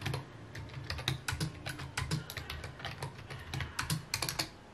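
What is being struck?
Plastic computer keyboard.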